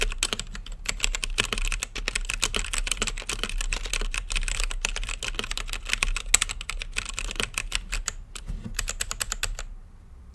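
Fingertips type rapidly on an RGB-lit mechanical keyboard with plastic keycaps and a clear acrylic case, making a dense run of short, bright, clacky taps that stop instantly. A steady low hum sits underneath. The typing pauses briefly near the end, resumes in a quick burst, then drops off into near silence.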